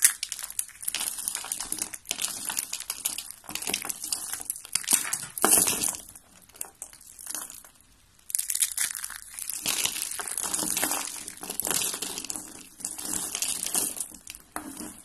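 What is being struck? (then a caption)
Rolled soap curls. Hands with red nails squeeze and crush turquoise and white rolled dry soap curls, shaped like roses, into flakes. Dense, bright, dry crunching and crinkling runs throughout, briefly dropping to near quiet around the eight-second mark before resuming just as crisply.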